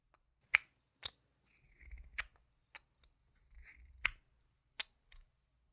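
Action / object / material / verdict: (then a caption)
tap / plastic chip-style game tokens / plastic / none. Yellow-rimmed solid plastic chip-style game tokens are held in one hand and clicked and shuffled together with the fingertips and painted nails. Sharp, bright clicks that die away almost instantly come at irregular intervals, with softer rustling shuffles between them.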